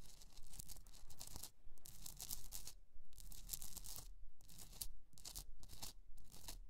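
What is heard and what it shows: Long nails scratch the sides of a rough, hollowed pink rock-salt Himalayan candle holder resting on fur. The result is repeated bursts of bright, dry, raspy scraping in a quick, fairly steady rhythm, with short pauses between strokes over a faint low hum.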